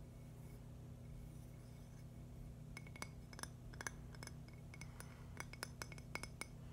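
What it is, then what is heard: Agate stone slice. A thin, solid purple agate slice held in one hand is tapped with fingernails. Over a steady low hum, a series of short, sharp clinks with a glassy ring around 1.6 kHz and bright upper tones starts after a quiet opening and grows denser toward the end, each tap dying away almost instantly.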